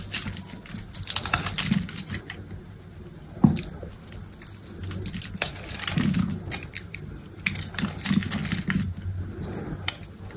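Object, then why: Bar of soap cut with a knife blade. A solid green bar of soap held in the palm is carved with an orange utility knife blade that scores and slices off small cubes and shavings. Dense, crisp scraping and clicking cuts run throughout over a low steady hum, with one sharper snap partway through.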